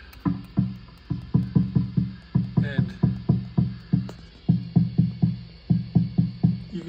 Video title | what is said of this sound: National company HRO 500 receiver HF oscillator extremely microphonic on FM mode test SDR receiver | I just take a straw and just tap this capacitor here, and you can hear how bad that is